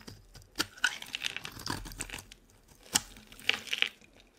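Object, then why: Olive oil bar soap. A solid green olive oil soap bar held in the hand is shaved and scraped with a utility knife blade, breaking off crumbly flakes. The sound is dry and bright, with crisp crackling, tearing scrapes and a few sharp snaps over a quiet background. Each scrape stops short with no ring.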